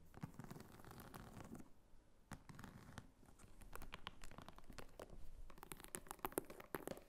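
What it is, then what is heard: Faux leather wallet, tapped and scratched. A small red croc-embossed faux leather clutch wallet with a flap and a metal snap stands upright on a table and is tapped and scratched from behind by long fingernails. The result is quiet, dense, dry tapping mixed with soft scratching and crinkling, each tap dying away almost instantly.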